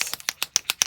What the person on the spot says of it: you hear that little bead mixing up the oil in the in the pigment